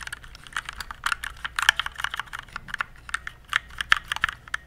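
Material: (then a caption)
Plastic. Fingertips type on the keys of a compact RGB plastic mechanical keyboard, producing a steady run of quick, bright clicks and clacks. Each keystroke is short and crisp, with the loudest strikes standing out from lighter taps.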